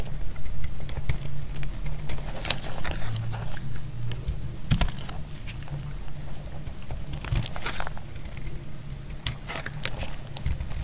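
A solid, dry red bar of soap is held in the hand while thin slices are cut off it with a utility blade. The cuts give off a run of crisp, bright scraping and crackling strokes over a steady low rumble.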